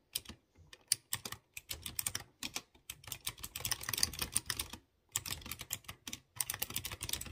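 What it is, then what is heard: Typing on a clicky mechanical keyboard. A typewriter-style mechanical keyboard with chrome-rimmed round keycaps on exposed blue switches is typed on with fingertips. The result is a rapid run of sharp, bright clicks with a faint low thump beneath. Short pauses break up the bursts of keystrokes.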